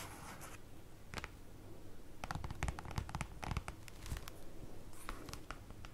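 Long acrylic nails scratch and tap with their tips on a large, flat, black printed paper or cardboard folder lying on a table. Dry scratching rasps alternate with quick, sharp, clicky taps that die away almost instantly, over a soft low rumble.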